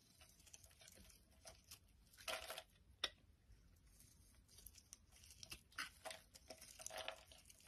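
A palm-sized solid purple bar of soap with embossed lettering is held in the hand and shaved with a utility knife blade, curls of soap flaking off. Quiet, bright scraping and crisp crackling strokes come in an irregular stream, with a few louder, longer shaves standing out along the way.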